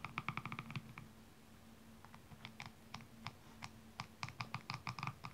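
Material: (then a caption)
Rhinestones. A slim metallic tool scratches the rhinestone-covered back of the heel on a single blue high heel shoe, held upside down with its red sole showing. The result is about two dozen quick, bright clicking ticks in bursts, separated by short pauses, over a faint low hum.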